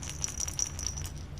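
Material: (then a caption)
Plush fabric. A soft stuffed dinosaur baby rattle is shaken, producing a steady, bright, high rattling with quick repeated shakes. A low rumble sits underneath throughout.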